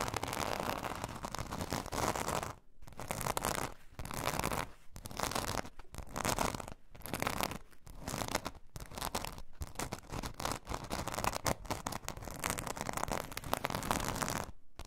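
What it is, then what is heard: Glitter foam craft sheet scratched. Long nails of both hands scratch the rough glitter surface of a glitter foam craft sheet lying flat on fur. The result is dense, broadband scratching in repeated bursts, strongest in the low-mid range, with brief silent pauses between strokes.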